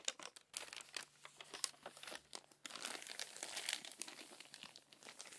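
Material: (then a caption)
Paper. A crumpled paper magazine lies open while hands with long nails flatten and rub its crinkled pages, then turn a page. Dense, bright crinkling and crackling comes in many short bursts, with a louder, steadier stretch of rustling in the second half.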